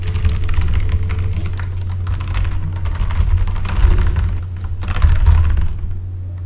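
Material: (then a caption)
Plastic. Fingertips type on a full-size backlit mechanical keyboard with plastic keycaps, producing a steady stream of quick, short clicks and clacks that come in bursts with brief lulls. A constant low hum sits under the typing throughout.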